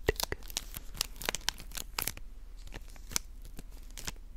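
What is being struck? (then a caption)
Plastic candy bar wrapper. Long nails scratch and crinkle the white plastic/foil wrapper of a small candy bar held in both hands. Quick, bright crackles and scratchy rasps come in irregular bursts over a faint low hum, each crinkle snapping off almost instantly.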